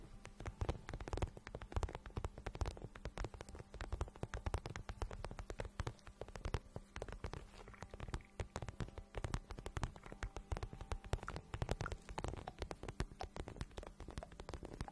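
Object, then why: Patent vinyl boot. Long nails tap and scratch the glossy surface of a shiny, hollow pink patent vinyl boot held in the hands. The result is a quiet, dense stream of rapid, soft, dull taps with a low, hollow thump, mixed with faint scratching and no ring.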